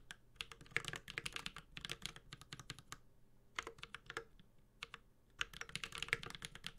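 A Space65 Cybervoyager 65% mechanical keyboard with Holy Panda switches, a metal case, a carbon fiber plate and ABS keycaps is typed on continuously with the fingertips of both hands. Bursts of crisp, bright key taps with very short decay come in uneven runs with brief pauses, over a faint low thud from each press.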